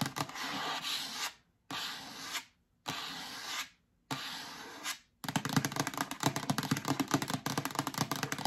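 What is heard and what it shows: Long acrylic nails rub and scratch the sides and lid of a yellow hollow plastic storage bin with a lid, held up. Four separate bright, hissing rubbing strokes are broken by short silences, then a steady run of quick, crisp scratches and clicks continues to the end.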